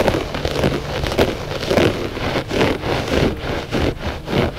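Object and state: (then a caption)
Looped carpet rug being scratched. Short fingernails scratch the pile of a flat gray loop-pile textile rug that is solid and soft. The result is a continuous, dense, crackly rasping that swells and fades in repeated strokes, with its main body in the midrange.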